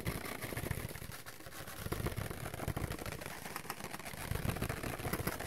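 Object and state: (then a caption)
Paper plate. A thin, empty white ridged paper plate is held in both hands while fingertips and nails tap rapidly across it and scratch its surface. The result is a dense, continuous patter of short, dull taps with a low, papery thump and a faint scratchy rasp.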